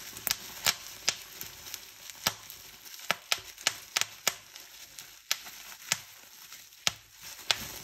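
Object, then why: Plastic bubble wrap sheet. Fingers twist a gathered fold of a clear plastic bubble wrap sheet, popping the bubbles one after another in around nineteen sharp, bright snaps. Each pop dies away almost instantly over a soft, crinkly plastic rustle.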